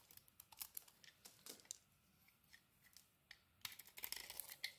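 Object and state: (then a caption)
Bar of soap being carved. A solid white and yellow bar of soap, held in hand, is scraped and shaved with a metal blade as chunks fall off. Quiet, bright, crisp scraping and clicking bursts come in quick clusters, busiest at the start and end with a sparser stretch in the middle. There is almost no low end and no ring after each stroke.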